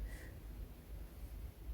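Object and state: Nothing is struck.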